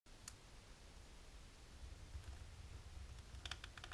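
Long natural pink-polished nails, on both hands in black lace fingerless gloves, scratch and tap a flat dark embossed plastic sheet laid on a table. A soft, steady low rumble underlies faint scratching, with an early bright click. Near the end comes a quick run of sharp, bright clicky taps.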